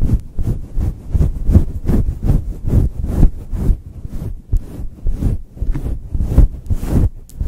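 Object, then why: Synthetic fur microphone windscreen. A fluffy grey-and-white synthetic fur windscreen, soft and hollow over the head of a Blue Yeti microphone, is scratched and rubbed with long chrome-polished nails and the fingertips of both hands. The result is a steady run of deep, muffled, rumbling swishes that swell and fade in quick rhythmic strokes, with almost no high or bright content.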